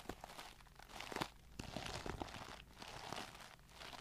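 Long nails tap and scratch a clear plastic Tarte brush set case holding pink brushes, with a glitter back panel, close to the mic. Quick, sharp plastic clicks mix with crinkly, rasping scrapes, with bright hiss and short dry ticks that die away almost instantly. The result is a quiet, steady stream of crunchy tapping and scratching.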